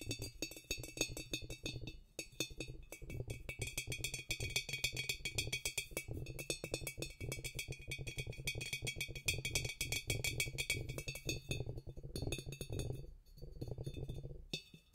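Fingertips and nails tap quickly around the narrow neck and shoulder of a large, empty, hollow clear glass carboy-style jug standing on carpet. The taps produce dense, short clicky strikes with bright high ringing tones over a low hollow resonance, with brief pauses between bursts.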